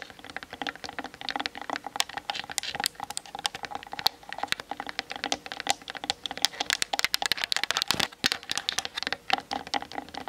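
Long nails tap rapidly on the top and sides of a Canon DSLR camera with a hollow plastic body, mounted on a tripod. The result is a dense stream of short, bright, clicky ticks with almost no low end and very little ring.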